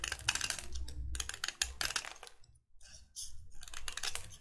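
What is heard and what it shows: A solid white chalk stick held in the fingers is scraped repeatedly with a metal utility knife blade, flaking off shavings. Quick, dry, bright scraping bursts crackle in a steady run, with a low rumble underneath. There is a brief near-silent pause midway before the scraping resumes.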